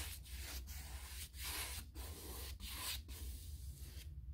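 A bristle paintbrush rubs in scratchy strokes along the panel edges and bottom rail of a white, painted six-panel interior door made of molded hardboard, likely a hollow-core molded composite, resting on wood blocks. Each stroke is a broad, bright, hissing scrape separated by short pauses, over a steady low hum.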